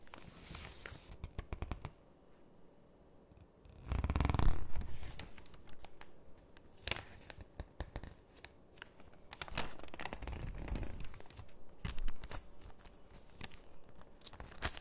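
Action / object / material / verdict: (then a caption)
scrape / thin paper catalog pages / paper / none. Hands with long pink nails hold open a thin paper catalog, turning its pages and squeezing and pressing them. Soft crinkling, rustling and scraping mix with quick, uneven nail clicks over a dull, low-heavy background, with louder swells of crumpling partway through and again toward the end.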